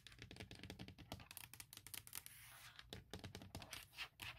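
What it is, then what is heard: Hard plastic laptop case. Long nails tap and scratch quickly on a thin, hollow, forest-print hard plastic lid cover of a MacBook Pro laptop shell. A rapid run of sharp, clicky taps mixes with bright scratching rasps over a light, hollow low thump. Each hit dies away almost instantly.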